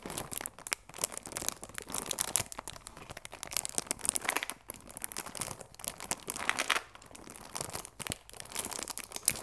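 Long nails and fingertips crinkle and scratch the clear plastic film wrapped around a cardboard chamomile tea box. Dense, bright crinkling and crackling comes in quiet, rapid bursts that rise and fall throughout, with almost no low end.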